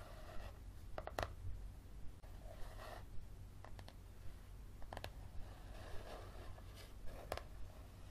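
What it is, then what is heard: Paperback book with card cover. Fingernails scratch and tap along the spine of a yellow paperback book with a card cover, held near a table. Soft, airy scratching strokes alternate with about nine short, quick taps and sharp clicks over a steady low hum.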